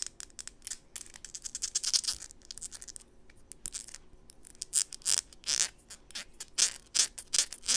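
A small, hollow white plastic bottle is held in the hands and scratched and tapped with long pink acrylic nails. The result is a fast, irregular stream of crisp, bright scratches and clicky taps, mostly high-pitched hiss, with each stroke dying away almost at once.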